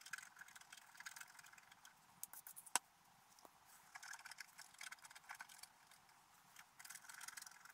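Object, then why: Black-coated scratch art paper scraped with a wooden stylus. A wooden stylus scratches details into a flat, black-coated sheet of scratch art paper. Quiet, bright, dry scratching comes in short clustered bursts with no low end, broken by a few sharper strokes around the middle. Brief pauses separate the passes before the scratching resumes toward the end.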